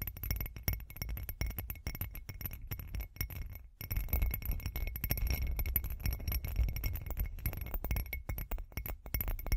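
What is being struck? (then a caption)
Small textured glass cup. A hand-sized, hollow, bumpy glass cup with glitter is tapped and scratched by long green acrylic nails. Dense, rapid clinks and light scraping run throughout, with a brief pause just before the four-second mark. The clinks are short and bright over a steady low rumble.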